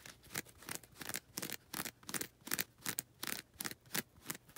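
Long red nails scratch the lilac coarse-grit side of a foam nail buffer block, making about seventeen dry, bright, raspy strokes in an uneven rhythm. Each scrape is short, with no ring after it.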